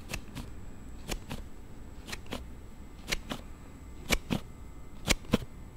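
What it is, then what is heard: Plastic sliding phone case. A thumb repeatedly slides the card panel of a palm-sized plastic Note7 slide phone case open and shut, making an unusual sound. Twelve short, sharp clicks come in six quick pairs about a second apart. They are bright and dry with almost no ring, over a faint low rumble.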